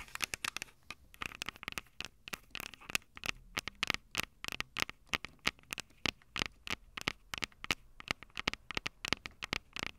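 Long acrylic nails tap and scratch the metal-grilled microphone capsules of a small, hollow Tascam DR-05 handheld recorder with a plastic body. A rapid, irregular stream of sharp, dry clicks and scratchy ticks sounds bright and thin, with almost no low end. Each hit stops instantly with no ring.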